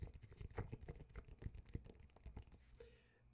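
Fingertips tap the front cover of an old TIME magazine with an "Inside the U.S.S.R." cover, held upright in both hands, its thin, flexible glossy paper. A quick, uneven run of soft, dull, low-pitched taps patters along with almost no ring, then fades into quiet.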